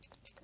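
A dried-out fineliner pen, with water added and its tip pushed back in, is shaken hard. The ink core moves inside the thin plastic barrel and makes a faint, quick, high-pitched rattle of light ticks.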